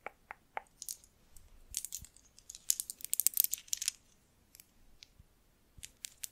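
A string of small hollow cowrie seashells is held up by hand while long nails handle them and click the shells together. Quiet, bright, dry clicks and rattles come in scattered bursts, with a denser cluster of crisp clattering in the middle before sparse clicks at the end.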